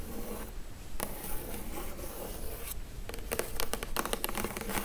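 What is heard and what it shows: Long acrylic nails scratch and tap the printed lid of a hollow Glowria printed cardboard gift box resting on a table. Dry, papery scratching runs in bursts, then quick, uneven taps and scrapes cluster toward the end.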